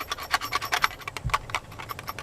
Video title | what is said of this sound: The Bushcraft Metal Kit: A Radical Change? | if you had metal in an aluminum or a metal container it's going to Rattle when you shake it